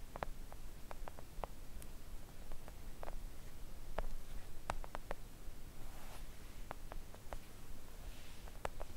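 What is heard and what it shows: A flat, thin, solid pink silicone nail art mat lying on a table is gently tapped with long coffin-shaped press-on nails. Soft, short clicks and taps come at an irregular pace over a quiet, low rumbling background.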